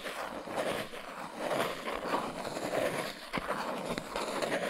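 A small brown cardboard box with folded flaps, held in both hands, is tapped and scratched along its sides with fingertips and nails. The result is a steady, dry, papery scratching with a hollow mid-range tone around 680 Hz, broken by a few sharp, short taps toward the end.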